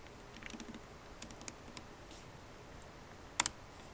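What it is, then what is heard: Laptop keyboard typing. Plastic keycaps on a MacBook Pro's aluminum-bodied keyboard are typed with long nails and fingertips. Quiet, sparse, bright taps come over a low hiss, and near the end the right hand moves toward the trackpad as two sharper, louder clicks sound.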